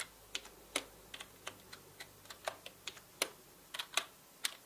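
A full-size black mechanical keyboard with plastic keycaps is tapped by the fingertips of both hands. The result is an irregular run of short, bright key clicks, with some keys struck in quick pairs and each click dying away almost at once over a faint, quiet background.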